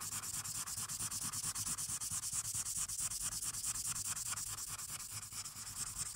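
A felt-tip marker rubs back and forth over a thin paper colouring page clipped to a dark clipboard, colouring the lower left of the sheet blue. A steady run of quick, bright, scratchy strokes repeats at a brisk, fairly even pace, with a soft low rumble beneath.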